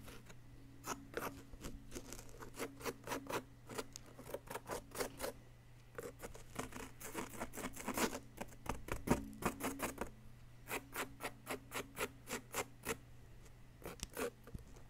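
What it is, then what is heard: Plaster excavation block being scraped. A wooden stick held in the fingertips scrapes and picks at a solid yellow plaster dig-kit block with a metal bar partly exposed. The result is a steady run of dozens of quick, crisp, gritty scratches with bright edges over a faint low hum. The strokes grow louder and denser around the middle, then briefly pause before resuming at an even pace.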